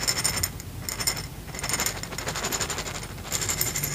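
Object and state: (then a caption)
Glass jar of small kernels being shaken. A clear, hollow glass jar about a quarter full of small reddish pieces that look like corn kernels or beads is held in one hand and shaken. The contents rattle against the glass in a dense, bright, high clatter that comes in bursts, with brief softer dips between them.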